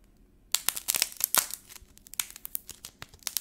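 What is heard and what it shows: A small solid ball of yellow air-dry modeling clay with a brittle black paint shell is pressed between the fingertips of both hands, cracking the shell and peeling it away from the soft clay underneath. After a half-second of near silence, a burst of sharp, bright crackles and snaps starts, dense at first and then thinning into scattered, irregular ticks of peeling paint.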